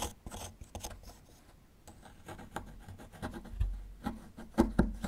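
A small metal chisel tool scrapes and chips at a small, solid plaster fossil excavation block. Quiet, dry scraping strokes alternate with short gritty chips. The chips grow louder and sharper toward the end.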